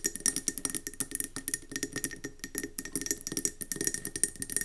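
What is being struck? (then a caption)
Glass candle jar with metal lid. Long nails rapidly tap and scratch a round, gold-speckled mercury glass candle jar with a metallic gold rim and gold lid, filled with yellow wax and standing on a table. About thirty quick, bright, glassy clicks land in a fast, uneven rhythm, each dying almost instantly. Soft scratching fills the short gaps between them.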